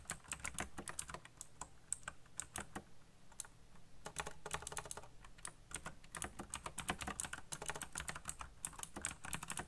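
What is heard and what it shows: Fast fingertip typing on the keycaps of a colorful, backlit black plastic mechanical keyboard produces a rapid stream of short, bright, clicky keystrokes with a soft low thud beneath each one. The typing slows briefly around the three-second mark before picking up again in dense bursts.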